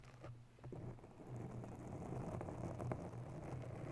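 Long nails scratch quickly around a grey foam cover on a microphone, making a dense, rumbling scrape dominated by low frequencies with scattered soft ticks. The sound stays fairly steady and muffled, building slightly louder after the first second.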